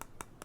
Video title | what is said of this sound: AUMAXPOURMOI METAL : DEBALLAGE DE LA CARTE METAL | vous voyez comment ça sonne c'est du métal en effet